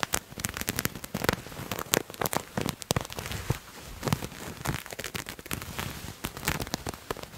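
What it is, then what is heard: Patterned fabric garment being scratched. Fingernails scratch along the surface of a purple paisley fabric garment that is held up. The sound is a dense run of quick, dry crackling scrapes with bright, sharp bursts over a soft, steady rustle.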